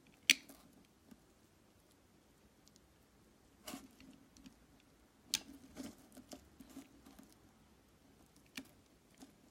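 The tip of a metal knife scores and scrapes a solid translucent red glycerin soap block resting on a glittery surface, held by fingers with painted nails. Four quiet, sharp, bright scratches and clicks stand out against faint soft scraping and small crackles.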